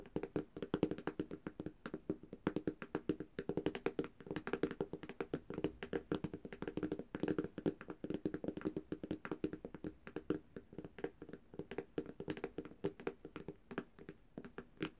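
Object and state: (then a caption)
Tablet glass screen. Long dark-painted nails tap rapidly on the glass screen of a flat black Samsung tablet, a thin, solid device. The result is a fast, steady stream of short, dry clicks with almost no ring and a faint mid-range body around 300 Hz.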